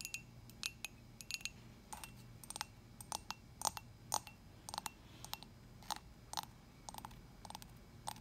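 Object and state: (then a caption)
Ceramic coffee mug. A dark glossy hollow ceramic coffee mug is tapped with long nails on its side and on its unglazed bottom. The result is a quick series of sharp, bright clicks with a faint ringing tone near 900 Hz over a low, steady background hum.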